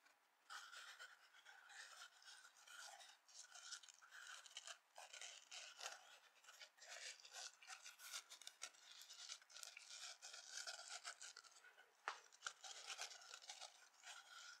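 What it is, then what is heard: Foam kitchen sponge with scouring pad, scratched. A dry, palm-sized yellow foam kitchen sponge with a dark abrasive scouring layer is held over an empty glass bowl while long nails and fingertips scratch and rub both of its faces. The result is a steady stream of bright, crackly rasping in quick, uneven bursts, with a faint tone around 1.3 kHz and almost no low end. A couple of sharper clicks stand out near the 12-second mark.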